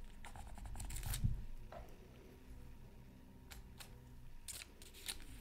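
A wooden stylus scratches a thin black-coated card from a Mythical Creatures Super Scratch Art Pad lying flat on a mat. Short, dry scratchy strokes come in bright, irregular bursts over a quiet low rumble, with the loudest scrape near the start and softer strokes after.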